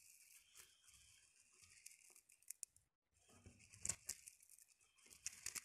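Long painted nails scratch and rake through a pile of loose, hard, dried yellow split chickpeas (chana dal) on a fabric surface. The result is a soft, bright, crisp rustling and crackling with scattered sharper clicks, a brief pause near the middle, then busier raking toward the end.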